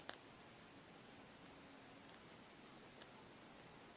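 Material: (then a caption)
Rubber. A solid black rubber hockey puck is held steady in one hand while long acrylic nails tap and scratch along its edge. Three sharp, bright taps stand out above a very quiet, steady hiss with faint rustling in between.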